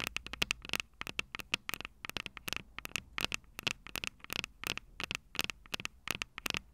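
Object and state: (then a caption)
Metal microphone capsules tapped with fingernails. Long purple nails on both hands rapidly tap and scratch the small metal X/Y microphone capsules on top of a plastic Tascam DR-05 recorder, the very mic doing the recording. Dozens of sharp, bright clicks and scratchy ticks come in quick, uneven bursts, peaking around 2.7 kHz with little low end. Each one cuts off instantly with no ring, over a quiet background.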